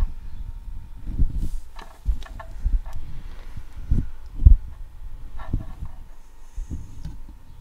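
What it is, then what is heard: Metal mesh microphone grille being scratched. Long acrylic nails and fingertips scratch across the hollow steel wire-mesh head of a microphone, producing close, muffled rumbling scrapes. The sound comes in uneven bursts, almost entirely deep and boomy, with faint brighter streaks of scratching above.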